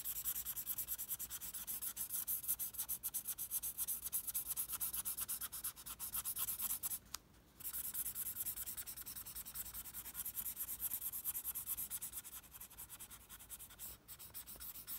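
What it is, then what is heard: Sheet of drawing paper. A red felt-tip pen, held at an angle, scribbles rapidly back and forth across a flat white sheet of drawing paper to fill in a red diagonal bar. The sound is a steady, bright, scratchy rubbing made of dense, quick strokes, with a brief pause about halfway through.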